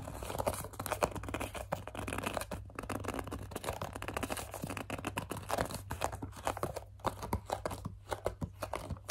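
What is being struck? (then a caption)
Plastic pump bottle. Long dark nails grip, squeeze and scratch the label side of a hollow, medium-size white plastic CeraVe foaming facial cleanser pump bottle held in both hands. A dense stream of crinkly scratches and soft squeaky taps continues throughout, over a steady low hum.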